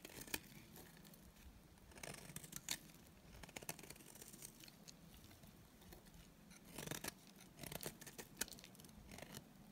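A solid, dry white bar of soap is held in the hand and shaved with a utility knife blade. Quiet, bright, dry scraping comes in short crisp bursts, with louder clusters near the start, around two to three seconds, and from about seven to eight and a half seconds. Each scrape cuts off almost at once, leaving little low-end body under the hiss.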